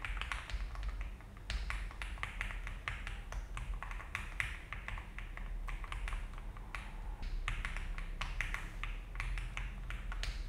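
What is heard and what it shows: A full-size-ish Alice-layout mechanical keyboard with a frosted translucent plastic case, polycarbonate plate and cream and brown ABS keycaps (GMK Tiramisu) sits on a desk mat. Both hands type steadily with fingertips, pressing and tapping the keys in quick, short clacks over a low steady hum. The keystrokes form a continuous, even stream of bright, dry taps.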